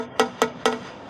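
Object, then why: Cast concrete structural part. A hammer taps a freshly cast concrete cantilever section three times; the part came out dark and is tapped to hear its sound. Each tap is a short, bright knock with a ringing tone around 445 Hz that dies away quickly. No verdict is given, and the part is to be sent to the lab.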